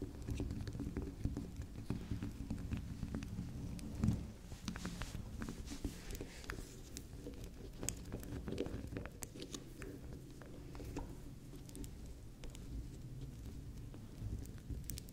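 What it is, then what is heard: Bar of soap. Long acrylic nails tap and scratch the top and rim of a small, solid, round pink swirl bar soap, with soap crumbles lying on the table. A soft, dense patter of low, muffled taps and scrapes runs throughout, with one brief louder tap near the four-second mark.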